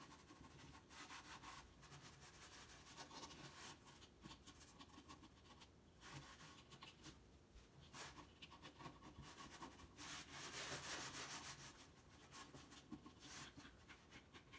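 Hands rub the light, unfinished top of a large, empty, hollow wooden crate stand with an X-brace side panel, using a sanding pad or cloth. The result is a steady, bright, scratchy rubbing sound with quick back-and-forth strokes over a faint hollow low body.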